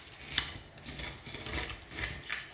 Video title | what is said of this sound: Beer Battered Fish and Tartar Sauce | listen to this. Listen to how crispy this fish is.